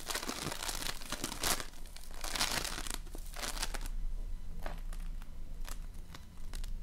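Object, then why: Foam-bead slime. A large lump of floam, slime filled with polystyrene foam beads, is squeezed and kneaded with fingers. It gives off bursts of bright crackling and crinkling over a steady low rumble, with quieter pauses between the squeezes.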